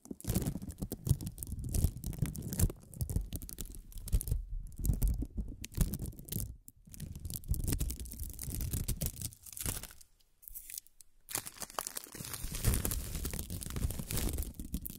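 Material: Plastic film.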